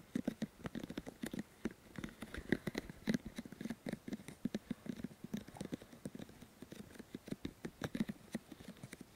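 Fingertips of both hands rub and press the white silicone ears of a 3Dio Free Space microphone with fast, repeated touches. Soft, muffled, close-up taps and rubbing scuffs follow one another rapidly in an uneven stream. Each touch is a short, dull thump centred low, with faint bright crackle over the top.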